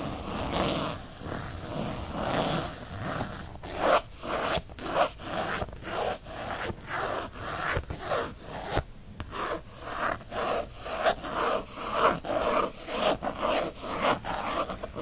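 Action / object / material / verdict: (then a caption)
scrape / textured faux leather planner cover / faux leather / none. Fingernails scratch fast across a textured faux leather planner cover with a bookshelf print. Dry rasping strokes come in uneven bursts about once a second, centered in the midrange with some high hiss, and each stops short with no ring.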